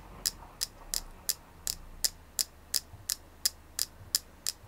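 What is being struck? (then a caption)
Carved selenite flower. A palm-sized, solid white, flower-shaped selenite carving is held in both hands and tapped with long nails. Thirteen short, crisp, bright ticks come at a steady pace of about three per second. Each tick dies away almost instantly over a faint low hum.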